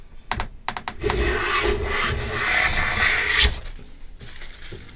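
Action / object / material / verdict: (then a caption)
scrape / pine plank and metal hand plane / pine wood / none. A metal bench plane is pushed by both hands along the edge of a solid pine plank held horizontally, curling out a long shaving. A few short clicks and taps come first, then a sustained, bright rasping hiss of the blade cutting. It ends in a sharp scrape and fades to quieter rustling.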